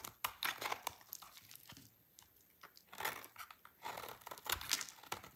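A utility knife blade shaves a solid, dry red-orange soap bar into many thin shreds. Crisp, bright, crinkly scraping bursts come in irregular clusters, separated by quieter stretches.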